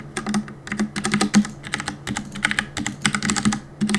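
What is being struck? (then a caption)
Mechanical keyboard with plastic keycaps. Fingertips rapidly tap the plastic keycaps of a black mechanical keyboard, producing a fast, uneven stream of sharp clicks and clacks. Each keystroke is short and bright, with little ring, over a faint steady low hum.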